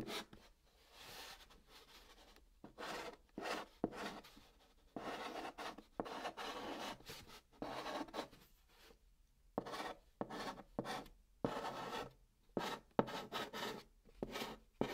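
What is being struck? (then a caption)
Chalk on a cardboard box. A white chalk stick held in the fingertips writes letters across the top of a large, flat, hollow brown cardboard box. The result is quiet, dry, scratchy rasping strokes in short bursts separated by brief pauses, with a papery hiss reaching into the high range.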